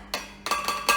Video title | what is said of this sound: Beaba Neo v's Beaba Solo | if I tap you can hear that that's a glass jar